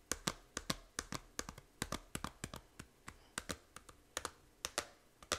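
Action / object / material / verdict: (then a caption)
tap / small plastic game case / plastic / none. Long nails tap the front cover of a small, hollow plastic 3DS game case for Fantasy Life. About 25 quick, irregular taps sound sharp, dry and bright with a light hollow click, each dying away almost at once.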